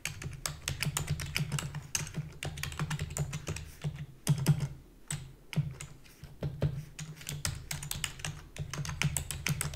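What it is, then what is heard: Plastic computer keyboard. Rapid typing with long fingernails and fingertips on a full-size black plastic computer keyboard with a hollow body. Quick, bright clicky taps come in a steady stream with short pauses, over a hollow low thump from the body beneath each keystroke.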